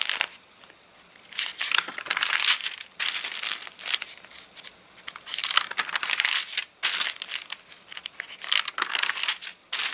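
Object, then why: Paper catalogue pages. Hands turn the pages of an open, rain-dried paper catalogue and crinkle its rippled, dry pages with their fingertips. The result is a series of bright, crackling crinkle bursts with brief quieter gaps between them. The sound sits almost entirely in the high range, with no low-end weight.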